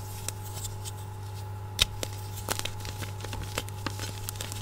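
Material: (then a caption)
Chalk. Two hands with short red-painted nails squeeze and crumble broken white gym chalk blocks (magnesium carbonate) and loose powder in a glass bowl. Scattered sharp, bright crackles and gritty crunching from the crushing and rubbing pop out over a steady low hum, with one louder snap near the middle.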